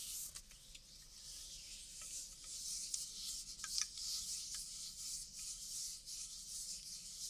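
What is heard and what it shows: An unopened, hollow red Coca-Cola aluminium can of about 330 ml is held in the hand while fingertips and nails rub and scratch along its side. The result is a quiet, steady, hissy high-pitched scraping, broken by a few faint sharp ticks and clicks.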